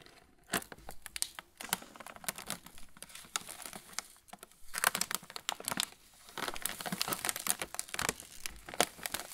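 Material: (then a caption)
Plastic film. An opened yellow Roland pretzel bag made of metallized plastic film, with a clear plastic tray inside full of pretzel sticks, is held in both hands and squeezed by the fingertips, one of them bandaged, so the film crinkles against the tray. Dense, bright crinkling and crackling come in bursts of sharp, quickly fading snaps, separated by brief quiet gaps.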